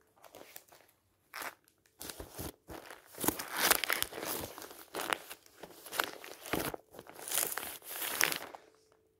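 Fingertips riffle and flip the page edges of a stack of thin glossy paper weekly magazines on a table, then flat hands rub across the top magazine's cover. Bursts of crisp, bright crinkling and crumpling paper rise and fall with short silent gaps between them, with almost no low end.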